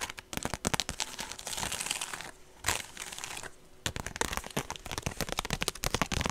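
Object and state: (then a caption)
Woven straw purse. Long nails and fingertips tap and scratch the woven surface of a small, rectangular woven straw (raffia-like) handbag with a long rope strap, hollow and apparently empty, held up close to the mic. Dense, dry, crinkly clicks and bright scraping rustles fill the clip with no ring after each hit. The sound briefly thins to quieter scratching twice near the middle before rapid tapping resumes.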